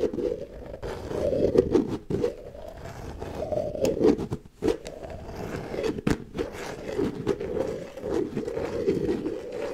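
Long nails scrape along the ridged edge of the red plastic lid on a medium white plastic tub. The result is a steady, dense, papery rasp centered in the low mids, swelling and fading in long strokes with a few brief breaks and sharp flicks between them.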